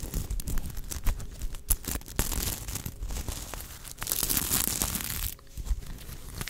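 A sequin fabric unicorn plush is held upright while long nails scratch and brush across its sequin surface. The result is dense, crinkly scratching with sharp clicky ticks and bright, hissy swishes when the nails sweep over the sequins.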